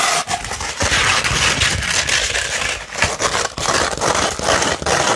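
A sandpaper sheet, first rolled and then laid flat, is scratched with long pointed nails. Dense, gritty scratching fills the clip with bright, rasping texture and brief dips between strokes.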